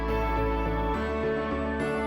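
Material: Nothing is struck.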